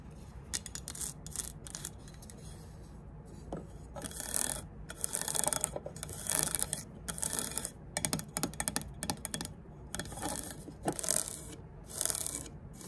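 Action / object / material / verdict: scrape / aluminum speed square / aluminum / none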